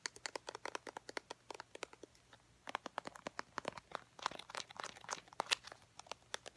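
A small, travel-size Eucerin lotion squeeze tube, white soft plastic with a red plastic cap and apparently full, is handled and tapped with long painted nails and fingertips. Dozens of quick, dry, bright taps and clicks follow one another, mixed with soft crinkly squeezing of the plastic. Each tap dies away almost at once.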